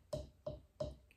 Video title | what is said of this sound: Pinch Pot Handmade Mug | give it a tap, hear that hollow sound in comparison to that dull non-existent sound of our wet piece